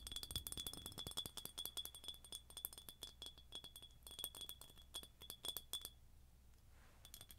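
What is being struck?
Ribbed glass jar with metal lid.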